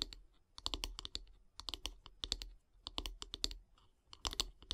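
Long grey nails tap and scratch on the solid light-wood handle of a bath brush. Quick clusters of short, bright clicks come in bursts separated by brief pauses, each tap dying away almost instantly with a faint low thud underneath.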